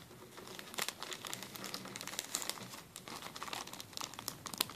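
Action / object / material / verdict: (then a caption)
scrape / thin plastic zip-lock bag / plastic / none. Fingertips crinkle and rub a clear, thin, empty plastic zip-lock bag with blue and green zipper stripes as it rests on a table. A steady, quiet stream of bright, crisp crinkling comes through, dotted with sharp crackles and with almost no low end. Each crackle stops at once, with no ring after it.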